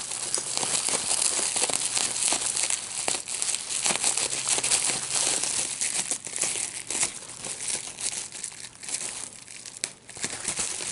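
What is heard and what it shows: A clear plastic bubble wrap sheet with small air-filled bubbles is held in both hands while fingertips pop the bubbles. Sharp, bright pops ring out irregularly over a steady, hissy crinkle as the sheet is unfolded. The pops quiet slightly toward the end before a few more snap out.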